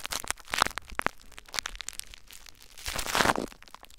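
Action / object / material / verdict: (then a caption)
scrape / plastic bubble wrap / plastic / none. Clear plastic bubble wrap stretched over a recorder is pressed and rubbed by cupped hands with their fingertips. The result is a quiet run of dry, bright crinkles and sharp little crackles, with a denser rustling burst near the end.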